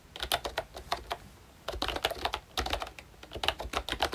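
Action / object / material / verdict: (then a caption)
tap / plastic membrane keyboard with round keycaps / plastic / none. Fingertips of both hands type on a full-size pink ROYCHE Disney Mickey Mouse retro keyboard with a plastic case, round dark green plastic keycaps and membrane switches. Quick, dry, bright plastic taps come in uneven bursts, with a short pause in the middle and almost no ring after each key.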